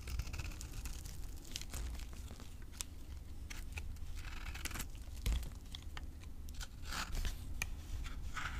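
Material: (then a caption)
Soap. A utility knife carves flakes and scrapes powder from the surface of a solid green soap bar labelled avocado soap, held in the hand. Dense, short, crisp scraping and crumbly crunching ticks with bright flake edges run over a steady low rumble, with brief dry rasps and no ringing.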